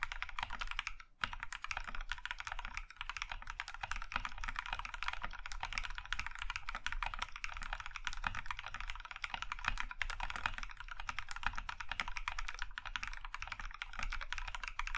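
Both hands type with their fingertips on a compact mechanical keyboard with cream plastic keycaps in a maroon metal case. The result is fast, continuous clacking with bright, short key clicks over a low thudding base, with a brief pause near the start.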